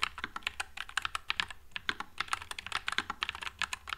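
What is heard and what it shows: One hand types with its fingertips on a white low-profile Nuphy Air96 mechanical keyboard with Wisteria switches and plastic keycaps. A quick, steady stream of short, bright, clacky keystrokes is heard, each one crisp and dying out almost instantly with very little low end.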